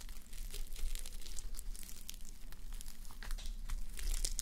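Fingertips and long manicured nails scratch and brush across a fabric sleep mask covered in plastic reversible sequins, resting on a white mannequin head. Dense, bright crinkling and clicking scratches flutter over a steady low rumble. The texture stays continuous and close for the whole clip.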